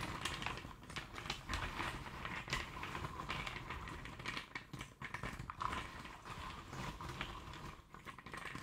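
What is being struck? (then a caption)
Cardboard jigsaw puzzle pieces in a tray. A pile of small, loose cardboard jigsaw puzzle pieces in a shallow tray is stirred and raked with fingertips and nails, and some pieces are picked up and dropped. The result is a continuous dry scratching and rustling with dense, quick clicks and taps, a bright papery texture, and a steady tone near 1 kHz.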